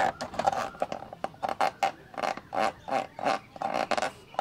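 Fingertips and short nails scratch and rub inside the hollow, black plastic rectangular lens hood of a professional camcorder, held in one hand. The result is a quick run of short, dry scratching bursts with a hollow, resonant plastic tone around 790 Hz and a bright, airy edge.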